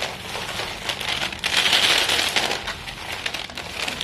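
Chalk-dusted fingertips of both hands grab, squeeze and crumble a pile of small solid white school chalk stick pieces on a silver foil paper plate. A steady, bright, dense crunching of breaking chalk rises and falls in loudness, with a possible faint crinkle of foil beneath.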